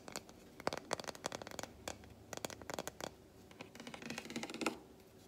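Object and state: Milk chocolate bar, tapped and scratched.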